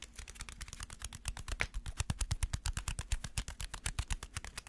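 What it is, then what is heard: Tapped aluminum foil ball. A ball of crumpled aluminum foil is tapped rapidly as an ASMR tapping trigger, giving a steady run of about 39 quick, short taps. Each tap has a soft, low thud with a faint crinkly click on top and no ringing afterward.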